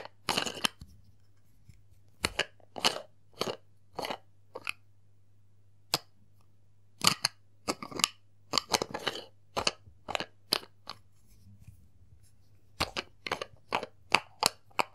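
A small round cosmetic cream jar with a silver plastic body and a clear plastic lid is held in one palm while fingertips tap and twist the lid. Sharp, bright plastic clicks and capping sounds come in short bursts and clusters separated by quiet gaps, over a faint steady low hum.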